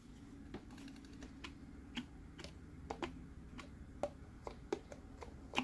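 A green, hollow plastic Mike Wazowski sipper cup sits on its base while fingertips tap the top of its lid. The light, irregularly spaced taps give short, dry hollow knocks with a bright clicky edge, each dying away almost at once. A faint, steady low hum runs underneath.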